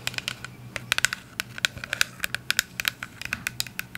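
Long acrylic nails tap and scratch a clear plastic cleanser bottle with a white pump, partly full of liquid. A quick, uneven run of crisp, bright clicks centered around 1.5 kHz sits over faint scratching. Each tap stops almost instantly with no ring.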